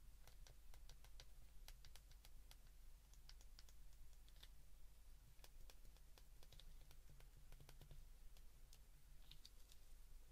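Thumbs with short nails press the number keys on an open white plastic flip phone, producing a quiet, irregular run of short, bright clicks. A steady low hum sits underneath throughout.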